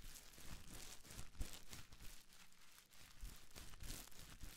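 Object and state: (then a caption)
Plastic bubble wrap crinkled. A small bundle of clear plastic bubble wrap is squeezed and crinkled in the hands right at the mic, worked by fingers with long nails. The result is a steady, close, rustling crinkle with bright crackles over a heavy low rumble, swelling and easing in soft waves without clear pauses.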